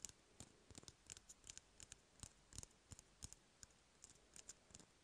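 Fingertips and nails tap and scratch along an empty, hollow cardboard toilet paper roll. About twenty quick, dry taps come at an uneven pace, each a brief bright click with a soft low knock, over a faint scratchy hiss. The taps die away almost instantly.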